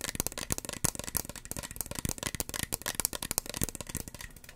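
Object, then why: Small plastic spray bottle. Long fingernails rapidly tap a small, hollow red plastic spray bottle with a white pump cap. The result is a dense, uneven stream of sharp, bright clicks, each dying away almost instantly, with a light hollow knock underneath.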